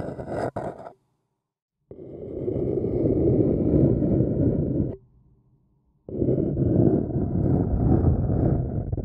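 A thin wooden stick scratches the outer wall of a small, hollow, empty white printed paper cup held in one hand. A brief scratch is followed by a pause, then two long, steady bouts of dry, low rasping separated by a near-silent gap.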